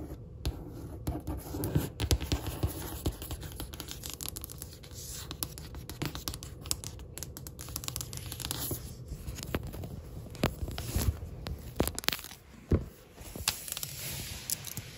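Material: Stone or laminate.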